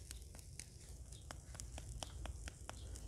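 The crust of a pork knuckle, grilled for about an hour, is tapped or scraped, giving a series of short, dry, crackling clicks over a low rumbling background. The crust has turned nicely crispy.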